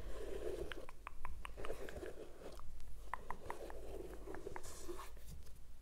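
Nails and fingertips scratch along the leather side and around the laces of a white leather sneaker with a rubber sole, held sideways, hollow and empty. A soft, papery scratching runs throughout, broken by quick light ticks and taps over a steady low hum.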